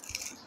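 Fried battered okra is shaken and handled, giving off a quick, dry, bright rattling crackle with almost no low end. The crisp sound shows the okra is fried crunchy.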